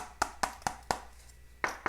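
Six sharp taps on the steel battery box cover of a first-production 1961 Norton Manxman 650 under restoration, struck to compare spots. Each tap gives a short, bright metallic click with a ringing tone near 760 Hz that dies away quickly, four in quick succession, a pause, then two more. The taps land on the bare metal area, where the cover sounds solid.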